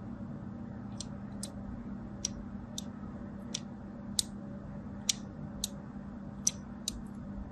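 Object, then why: Bar of soap cut with a craft blade. A craft blade scores crosshatch lines into the surface of a solid striped bar soap held in the hand. Ten short, bright scratching cuts come at an irregular pace, each dying away almost instantly over a steady low background hum.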